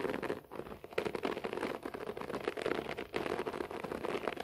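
Both hands scratch a beige short-pile floor carpet with fingertips and nails. The result is a dense, continuous, crackly rustle centered in the midrange, thinning out for brief moments before the scratching picks up again.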